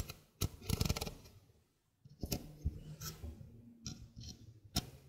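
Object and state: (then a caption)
Stainless steel mesh sink strainer. Fingernails scratch and rub across the mesh of a small, hollow stainless steel mesh sink strainer held in the hand. Dry, crackly scrapes and sharp ticking clicks come in short bursts, with a quiet pause near the middle. The sound is low and thuddy underneath, with a bright, rustling edge on each scratch.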